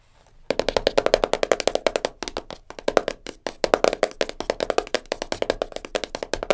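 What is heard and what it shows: A small, closed, black printed cardboard jigsaw puzzle box full of pieces, resting on a fur rug, is tapped fast with long nails. A rapid, steady run of short, dry, hollow taps with a mid-range knock. Each tap dies away almost instantly, with a few brief pauses between bursts.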